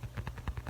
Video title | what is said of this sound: ASMR Let's Just Relax (lofi tapping, whispers, personal attention, up close) | The foamy, plasticky kind of hollow sound. Not hollow